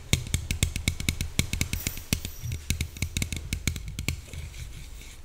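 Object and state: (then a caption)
Aluminium soda can. Long nails tap rapidly on the side and top of a slim red Coca-Cola aluminium can held upright. The result is a quick, uneven run of sharp, bright clicks with a dull low thud under each one. Every tap stops almost at once, with no ring, giving a soft drum-like patter.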